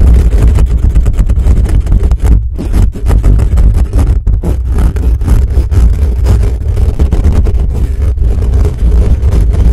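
Fingertips and nails of both hands rapidly scratch the hollow metal mesh grille of a black condenser microphone. The result is a dense, continuous, heavy low-frequency rumbling scrape with a deep booming thump underneath, dipping only briefly between bursts of scratching.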